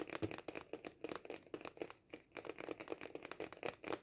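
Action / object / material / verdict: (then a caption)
tap / cardboard kaleidoscope tube / cardboard / none. Fingernails tap fast on a small, hollow cardboard kaleidoscope tube with a colorful pattern, held in both hands. The clip is a dense run of short, dry, clicky taps with a papery, hollow tone around the mid-range and a little high crinkle, with only a brief pause near the two-second mark.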